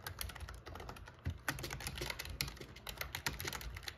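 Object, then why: Plastic keyboard keys. Short-nailed fingertips type rapidly on a backlit, full-size, hollow-bodied black plastic gaming keyboard, pressing and tapping the keys. Dense, fast clicks and clacks with a hollow low thump sit under bright key chatter, and a few louder strikes stand out from the steady stream.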